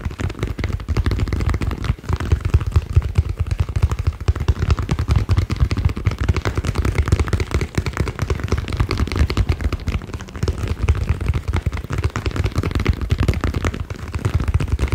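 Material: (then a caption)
Synthetic leather. A small green and black inflated soccer ball with a synthetic leather or PVC panel cover, hollow and air-filled, is held in the hands and tapped rapidly with fingertips and nails. The result is a dense, continuous stream of short, dull, low thumps with a hollow resonance around 74 Hz that runs steadily for the full fifteen seconds.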